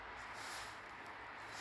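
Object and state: Nothing is struck.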